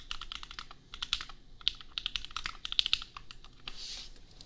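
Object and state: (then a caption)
Plastic mechanical keyboard. Bare fingertips of both hands type quickly on a $250 custom 60% mechanical keyboard with Gateron Milky Yellow switches and red and white plastic keycaps, resting on an anime desk mat. The result is a steady stream of short, dry, bright plastic clacks with no ring, a few louder sharp strikes, and a softer, airier stretch near the end.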